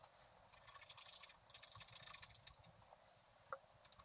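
A wooden stylus scratches fine lines into a flat, black-coated scratch art card lying on a table. Two stretches of bright, raspy scratching come in quick strokes, then fade to faint strokes with one sharper tick near the end.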